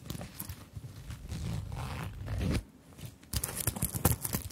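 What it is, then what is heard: Sequined fabric purse. A small zippered fabric purse covered in round plastic sequins is held in both hands while long-nailed fingertips tap and scratch over the sequins and zip. A soft, low rustling scrape swells through the middle of the clip and cuts off into near silence. It then gives way to a run of sharp, bright clicking taps.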